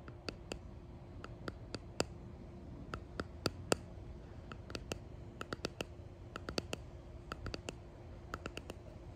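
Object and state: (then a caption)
Resin box tapped with fingernails. A clear resin hexagon box with embedded pressed flowers and gold flakes, held in the hand, is tapped and scratched along its faces and edges with long painted nails. Many quick, dry, bright clicks come at an uneven pace, each dying away almost instantly. They sit over a quiet, steady low hum.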